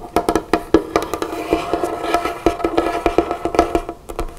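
Both hands, with long fingernails and a flower ring on one hand, tap and drum on a large, solid, dark-stained wooden tabletop. There are 19 short, dry, hollow knocks in an irregular rhythm, each centred near 330 Hz and dying away almost instantly. Soft fingertip and nail brushing fills the gaps between them.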